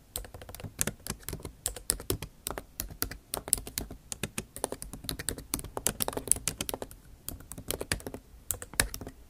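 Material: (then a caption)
Plastic. Rapid typing with long nail tips on a backlit MacBook Pro keyboard, with plastic keycaps set in an aluminum body. Around fifty quick, dry clicks and taps run for about nine seconds, each with a bright, sharp edge and almost no ring. Brief pauses break up the steady bursts.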